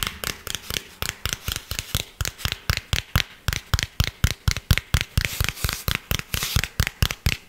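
Fingernails tap and scratch the face of a round tan cork coaster, a thin solid disc held close to the mic. About 32 short, dry, quickly damped taps come in a loose, uneven rhythm, each with a dull low thump and a bright scratchy edge, with faint scraping between them.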